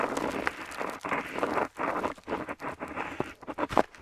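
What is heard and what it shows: A metal dip pen nib scratches across a flat paper map sheet up close while writing letters. Short, dry scratchy strokes come in quick bursts with brief pauses between them, most of their energy in the low-mid to upper-mid range. A few sharper, brighter nib squeaks stand out near the end.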